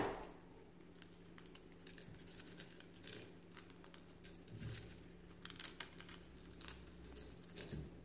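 Fingers in white rubber or latex gloves pick up and crush a few thin, hollow, brittle brown and white eggshell fragments lying in a clear glass bowl. Quiet, bright crackles and sharp little snaps come in scattered bursts over a steady low hum, with some clicks possibly from the shells touching the glass. The shells break into smaller pieces, the crunching growing busier toward the end.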